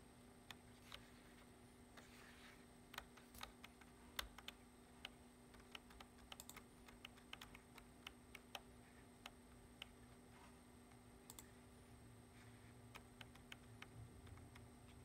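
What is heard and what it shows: Fingertips of a hand wearing a ring tap the low-profile keys of a black plastic computer keyboard on a wooden desk in quick typing strokes. The strokes are short, crisp, bright clicks spread irregularly across the clip, some louder than others. Underneath is a quiet, steady background hum.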